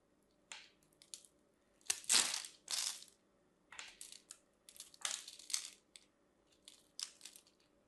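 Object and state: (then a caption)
Bar of soap cut and scraped. A solid teal and white striped bar of soap, held in a hand with long manicured nails, has its scored surface cut and scraped with a craft knife blade. Bright, crisp crunching and scraping bursts come in uneven clusters with short quiet gaps, the longest scrape swelling in the middle. Small crunchy cubes flake off the bar.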